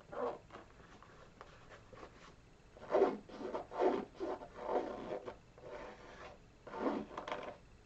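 A single hollow, empty burgundy canvas Vans-style sneaker with a white rubber sole is held close while fingertips and nails scratch and rub its textured rubber sole and then the canvas upper. The result is a series of soft, dry scratching and rubbing strokes, mostly in the mid range, swelling and fading at an uneven pace against a quiet background.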